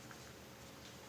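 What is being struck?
Nothing is struck.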